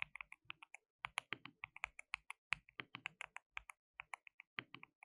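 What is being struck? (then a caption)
Plastic mechanical keyboard. Both hands type continuously with their fingertips on a compact, hollow, white-cased mechanical keyboard with white and pink plastic keycaps and RGB backlighting. About 31 quiet, bright, clacky keystrokes arrive in uneven bursts, each peaking around 2.6 kHz with almost no low end. Every click dies away almost instantly, leaving a dry, crisp typing rhythm.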